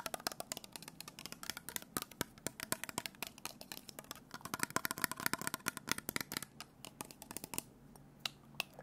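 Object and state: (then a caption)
Glass bottle with plastic cap. Fingertips and nails tap and scratch a small clear glass bottle held in the hand, partly full of orange liquid, with a printed label and a white plastic cap. A quick, irregular series of sharp, bright clicks with almost no ring sounds over a soft, high scratching hiss from the glass and label.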